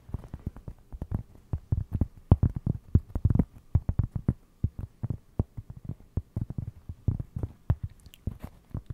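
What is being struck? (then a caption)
Round flat cork trivet. A round, flat, solid plate-sized cork trivet is held close to the microphone and tapped and scratched with fingertips and short nails. Dozens of soft, dull, low thuds come in a quick, uneven patter, each dying instantly with no ring. A few brighter scratchy ticks appear toward the end.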